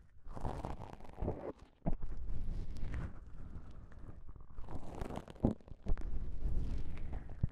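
Two small folded pieces of thin, soft, beige self-adhesive (cohesive) elastic bandage fabric, one held in each hand, are squeezed and rubbed between the fingertips up close. The result is a steady, soft, low rustling and scrunching texture. Sharper little pops and crackles break through now and then, with brief quiet gaps between bursts.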